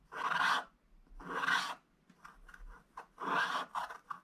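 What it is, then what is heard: Wax-coated scratch-art paper being scratched. A wooden stylus scratches fast, vigorous fill strokes across the red sack area of a flat, black wax-coated scratch-art paper page. Three long, rasping bursts are heard, with shorter flicks of scratching between them. The sound is dry and papery, centred in the midrange around 1–2 kHz, with a bright, hissy top and almost no low end.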